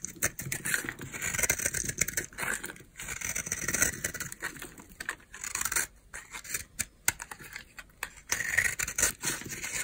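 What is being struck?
Bar of soap carved with a knife blade.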